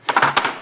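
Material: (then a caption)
Plastic. A padded clip-on wrist rest on a Tt eSports Meka G-Unit mechanical keyboard, with rubber underneath to keep it from moving, is knocked on several times. It gives light, hollow knocks centered around 1 kHz with very little low end, showing that the rest is hollow.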